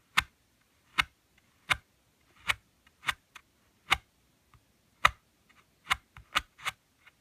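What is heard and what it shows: Fingertips and nails tap on the glossy cardboard cover of a thin book printed with red leaves, lying flat on a woven mat. Ten short, crisp, bright taps with almost no ring are spread unevenly across the clip, along with a few fainter ticks in between.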